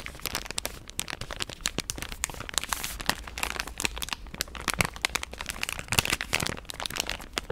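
A pink soft plastic wet-wipe pouch is rubbed between the palms and scratched with long nails, making it crinkle. Dense, bright crackles and sharp little snaps tumble over each other without pause, each dying away almost instantly, over a faint steady low hum.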